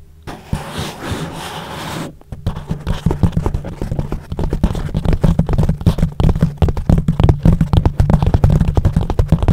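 Palms and fingers rub and press a soft yellow foam windscreen on a microphone back and forth. A smooth, breathy rustle runs for about two seconds, then gives way to a rapid stream of deep, muffled thumps and scrubbing pulses that grow slightly louder toward the end. The sound is heavy in the lows with almost no bright top end.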